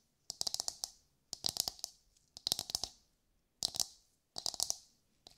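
A hollow, brown, fibrous coconut shell half, held in both hands, is tapped and scratched with long nails. The sound comes in rapid clusters of crisp, bright, dry clicks that fade quickly, with a faint hollow tone in the mids. Short silences separate the clusters.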